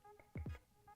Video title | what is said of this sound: How to Make a Black Concrete Jar (NO CEMENT ALL) | Do you hear that? It's already ready to be demolded.